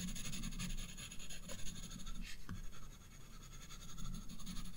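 A graphite pencil held upright scratches rapid shading strokes on the bulb drawn on a spiral paper sketchbook page. The sound is a dense, steady, low-heavy scratching with a faint bright hiss layered above it.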